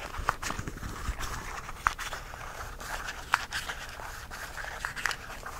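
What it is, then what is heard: Plastic spice jar handled and tapped. Fingertips and nails scratch and tap a small, clear plastic jar of whole cloves, partly full, held in both hands while its red plastic cap is twisted. A steady, soft scratchy rustle runs throughout, broken by brief, sharp plastic clicks and taps with a bright edge.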